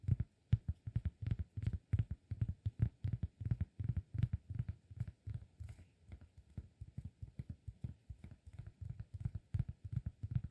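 Fingertips tap rapidly on the face of a round, flat, solid cork disk held in the hands. The result is a steady stream of dozens of soft, dull thuds, deep and short with no ring, and faint clicky tops at each touch.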